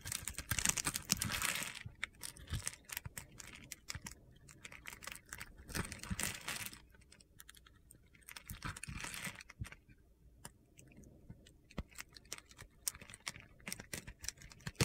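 A box-cutter blade scores a solid, palm-sized yellow soap bar held in the hand and chips off crumbly cubes. The clip is full of dense, crunchy, gritty scraping bursts and sharp little clicks, separated by quieter gaps.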